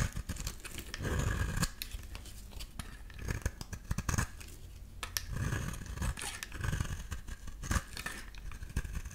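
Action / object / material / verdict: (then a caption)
scrape / bar of soap scraped with a metal blade / soap / none. A metal utility-knife blade scrapes a solid rectangular beige bar of soap, shaving off dry curls. Dry, crisp scraping strokes come in irregular bursts, with sharp clicks and a soft low rumble underneath.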